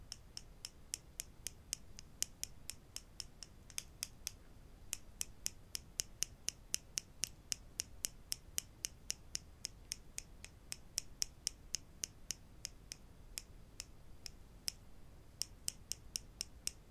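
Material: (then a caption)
Wood. Wooden clothespins are tapped quietly in a steady run of about sixty short, dry clicks over a faint background hiss. Each click is sharp and bright, with almost no ring after it.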